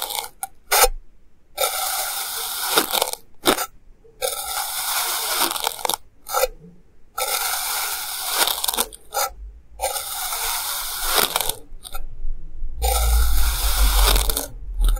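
A clear plastic knife slices a solid, hand-sized mound of purple kinetic sand into thin layers, cutting and scraping through it. Each pass makes a soft, gritty, broadband scrape and crunch, separated by brief silences as the knife lifts between slices. Toward the end there is a low rumbling underneath.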